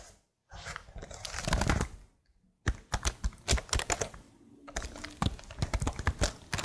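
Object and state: Plastic laptop keyboard.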